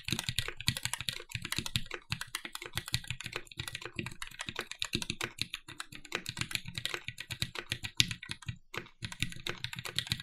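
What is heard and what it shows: A compact red-cased TGR 910 SE mechanical keyboard with Cherry MX "Vintage" Black switches, an aluminum plate and black plastic keycaps is typed on continuously with the fingertips of both hands. It makes a steady stream of rapid, dry key clacks with bright, crisp tops and a soft low thump beneath. Each stroke dies away at once, with no ring.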